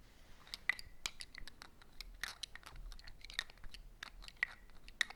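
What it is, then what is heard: Glass perfume bottle. A Cool Water perfume bottle, with a bulky body and a big pinch at its bottom, is tapped in a quick, irregular run of many light, sharp clicks. The clicks are bright and high-pitched and die away almost instantly, over a faint background hiss.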